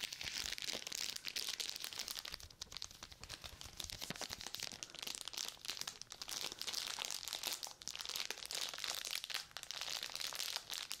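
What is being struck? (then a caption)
Sealed plastic and paper glove pouch. A sealed plastic and paper surgical glove pouch has its paper back rubbed with a flat palm and fingertips, then crinkled with long nails close to the mic. The result is a continuous bright, papery crinkling and scratching texture with dense rapid crackles and almost no low end.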